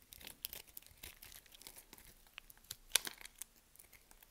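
A metal utility blade cuts and scrapes through a solid green soap bar held in the palm, breaking grid cubes off. Crisp, dry crackling and sharp snapping clicks sound in quick bursts, with a light scraping hiss between cuts and a loud crunching snap near the end.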